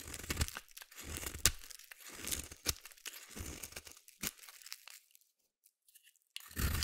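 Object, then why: Soap bar. A solid purple bar of soap, held in the hand, is shaved with a metal utility blade in repeated scraping strokes. The strokes give bursts of dry, crunchy, tearing scrapes with bright crackle over a low rumble and a few sharper snaps. A near-silent pause comes before a final dense scrape.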